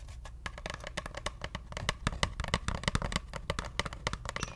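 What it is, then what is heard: Cardboard tube. A hollow brown cardboard paper-towel roll, held horizontally, is scratched and tapped with long nails. A rapid, uneven run of short, dry taps mixes with bright scratchy clicks over a low, hollow body that dies away almost at once.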